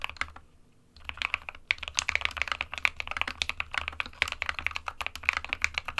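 A small 60% SK61 mechanical keyboard with a white plastic case and plastic keycaps, resting on a printed desk mat, is typed on rapidly with the fingertips of both hands. The result is a dense run of short, bright plastic key taps with almost no low end and no ring, broken by a brief pause near the start before the typing resumes steadily.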